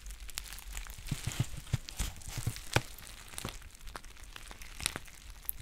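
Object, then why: Foil pouch. A green foil tea pouch is held in both hands and crinkled and scratched with long painted nails. The result is a steady stream of dense, crackly crinkling broken by sharp, brief scratchy clicks with bright high edges, over soft low thumps from the handling.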